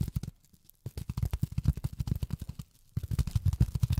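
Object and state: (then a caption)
Polyethylene foam tapped with fingernails. Long fingernails tap rapidly on polyethylene foam, making 26 soft, dull taps in quick bursts with two brief pauses. The taps are low and muffled, with a short dry decay.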